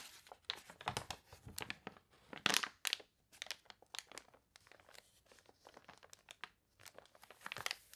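Long nails scratch the wavy, glossy pages of a water-warped paper toy catalog while the pages are turned. The result is a quiet, steady run of short, dry crinkles and crunches, mostly bright with almost no low end. One louder, sharper crackle stands out near the middle.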